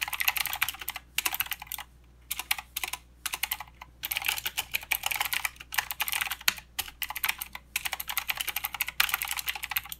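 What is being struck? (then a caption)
Mechanical keyboard with plastic keycaps. A mechanical keyboard with plastic keycaps and blue switches is typed on with the fingertips of both hands. Rapid, bright, clicky keystrokes come in bursts separated by brief pauses, each click short and dry over a faint, steady low hum.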